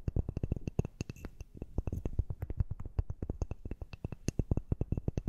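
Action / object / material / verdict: tap / small wooden dumbbell-shaped piece / wood / none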